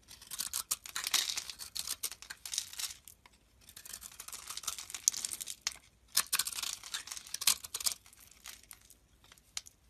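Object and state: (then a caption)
Bar soap being chipped with a blade. A metal blade chips pieces off a solid, light green, rectangular Nesti soap bar with a grid-scored surface, held in the hand. Dry, bright crackling and crisp scraping come in bursts of rapid clicks and crumbles, separated by brief quiet pauses, with almost no low end.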